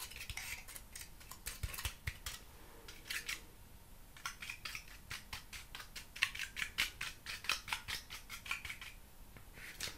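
A hand-sized rigid honeycomb cardboard panel with a brown patterned printed paper face and an open honeycomb edge, hollow-celled, is held in one hand while fingertips and nails tap and scratch its face and edge. Quick, dry, bright taps and scrapes come in uneven bursts with almost no ring.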